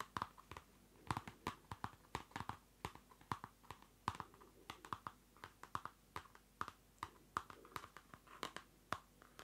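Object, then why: Paper notebook with card cover. Fingernails scratch and tap the card cover of a small Field Notes pocket notebook, a card cover over paper, close to the mic. A quiet, irregular stream of short, dry clicks and taps with brief scratchy rasps comes through, each tick sharp and bright with a papery midrange tone and almost no ring.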